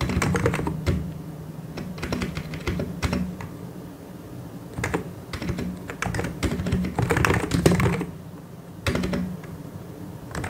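Fingertips of both hands type on a white and grey plastic mechanical keyboard. Bursts of quick, irregular clacking keystrokes with a low, thocky body are broken by brief lulls near the middle and toward the end. A faint steady low hum runs underneath.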